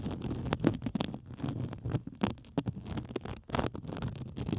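A pink plastic bubble wrap sheet draped over the microphone is scratched with the long acrylic nails of both hands. It makes a dense, muffled, low-heavy rustle broken by many sharp, brief crackles and clicks with bright edges.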